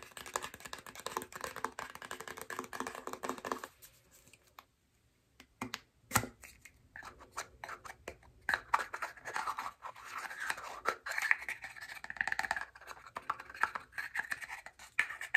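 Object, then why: Plastic deodorant stick container. A hand-sized white plastic Native deodorant stick, a hollow tube with a cap holding the stick, is tapped and scratched with medium-length painted nails, then twisted and handled in the hands. Dense, dry scratching and clicky taps fill the clip, broken by a short near-silent pause before sharper taps and scraping return. The sound is thin and bright, centered in the upper mids, with little low end.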